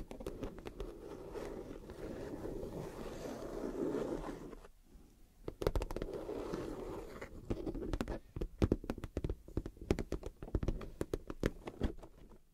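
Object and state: Clear PVC vinyl makeup bag.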